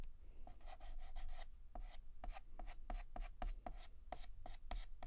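Fingertips hold a yellow chalk stick and shade a petal on a flat, solid black chalkboard with rapid, short scratches. Each quick stroke gives a dry, bright scrape with a faint squeaky tone, over a steady low hum.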